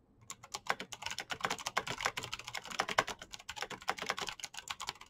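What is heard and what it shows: Fingertips type fast and densely on a black plastic mechanical keyboard with clicky switches, giving a quick run of about 34 sharp, bright clicks over five seconds. Each keystroke snaps off almost instantly with no ring, and there is little low-end thump.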